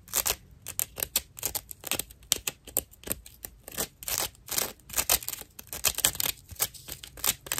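A dry natural loofah sponge is held edge-on while its fibrous rim is scratched with fingernails. About thirty short, rough, scratchy bursts follow in quick succession. The sound is bright and crackly, with almost no low end and no ring after each stroke.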